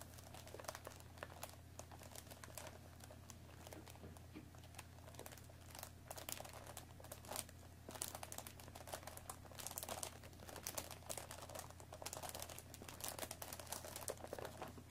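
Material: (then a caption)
Cardboard. Long nails scratch and tap the top and front of a hollow cardboard tea box wrapped in plastic film, resting on a wooden table. The quiet, bright crinkling and rapid clicks of the film come in irregular bursts over a steady low hum.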